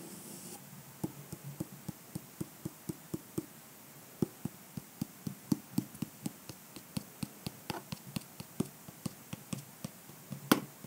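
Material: Hard shell.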